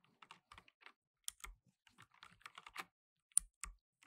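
Fingertips in blue nitrile gloves rapidly type on a black plastic tenkeyless mechanical keyboard with plastic keycaps. About sixteen short, bright plastic clicks and clacks come in quick, uneven bursts, each dying away almost instantly, with a few heavier keystrokes adding a soft low thud.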